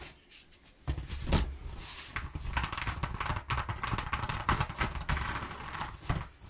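Long nails scratch and tap across the ridges of a flat sheet of exposed, ribbed corrugated cardboard lying on a wooden table. After a quiet start, a dense run of dry, papery scratches and soft, thumping taps follows, with short sharp rasps standing out. The sounds have a heavy low-end body and little ring.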